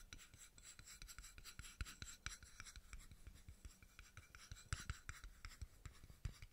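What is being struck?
Small steel screw cap.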